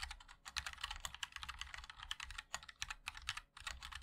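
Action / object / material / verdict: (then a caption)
tap / mechanical keyboard with metal case and plastic keycaps / plastic, aluminium / none. Fingertips of both hands type continuously on a MOD-L 60% mechanical keyboard with a black aluminium case, white and black ABS plastic keycaps and linear switches. The result is a rapid stream of short, bright, clacky taps that stop almost instantly, with a faint low thump under each keystroke.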